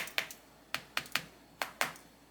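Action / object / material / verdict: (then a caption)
tap / caramelized sugar crust on a sweet roll, tapped with a metal spoon / caramel / hard. A gold spoon taps a little rhythm on the hardened caramelized crème brûlée sugar crust topping Hawaiian bun donuts. Six sharp, bright, glassy clicks ring only briefly. The crust has set hard and perfect.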